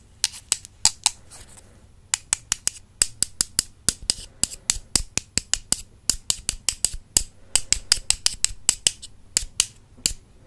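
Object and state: Wooden makeup brush handles tapped together.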